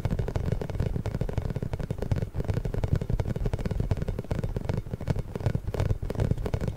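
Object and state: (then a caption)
Rubber spiky massage ball. A large pink inflated hollow rubber massage ball with small spikes, held behind the microphone, is rubbed and tapped with fingertips and short nails. The result is a steady stream of dense, low, muffled thumps and scratchy rubbing, with many quick taps that die away almost at once.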